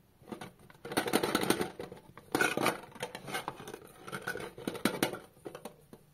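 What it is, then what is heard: Painted metal candy tin. Fingertips and short nails on both hands tap and rub the closed lid of a round, plate-sized blue painted metal M&M's candy tin lying on a green rug among Milky Way wrappers. Quick light taps mix with scratchy rubbing in uneven bursts, giving a thin midrange metallic patter with bright crackly edges and very short ring.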